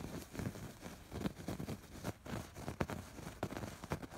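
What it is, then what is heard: Embroidered fabric pillow. Fingertips and nails scratch over the raised red, pink and blue embroidery stitching of a soft, stuffed fabric pillow. The strokes come in an uneven, rustling series of soft, dull scrapes, mostly low and muffled with little brightness, each dying away almost at once.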